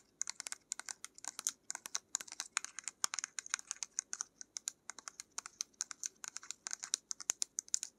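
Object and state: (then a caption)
Plastic paint tube. A small plastic paint tube with a black cap and a pink label, apparently filled with paint, is held in the hands while long nails tap and scratch its surface. The result is a rapid, uneven stream of sharp, dry clicks and light scratches that are bright and thin, with almost no low end and no ring after each tap.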